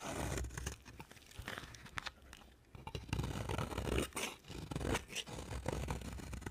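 A utility knife blade scrapes and cuts a solid, dry cream-colored soap bar over a pile of shavings. Dry, crackly scraping strokes with a tearing, crunchy texture repeat in quick succession over a low rumble. There is a brief quieter lull midway before the strokes grow louder again.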